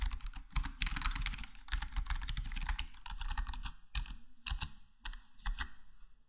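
A black plastic HyperX Alloy Core gaming keyboard, full-size with square plastic keycaps and a foam-dampened case, is tapped slowly with fingertips, partly single-finger presses. Soft, muted clacks come in dense runs and then sparser separate taps, with a low, thuddy body and short dry decay.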